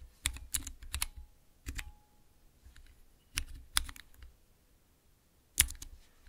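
Fingertips and nails press three tall, translucent clear plastic keycaps on a Cherry MX mechanical keypad. The presses come in short, irregular bursts of sharp, bright clicks with a low thock underneath, and each one dies out almost at once. Quiet gaps separate the clusters.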